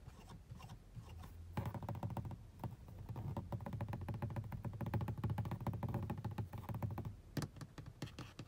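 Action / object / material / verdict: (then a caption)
tap / grained plastic car dashboard and air vent / plastic / none. Long blue nails tap and scratch across a black, grained, textured plastic car dashboard panel and the louvers of its air vent. A dense run of quick, dull, low clicks and scrapes rises after a softer start, continues unevenly, and then thins out into a few scattered taps near the end.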